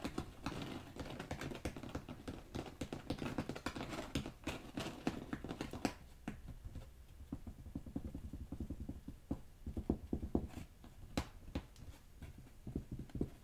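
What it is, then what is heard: Carpet remnants tapped. Carpet remnants are tapped in a quick, continuous stream of soft, muffled taps. The thuds are dull and low, with little brightness and almost no ring, coming denser at first and then sparser, with a few sharper clicks.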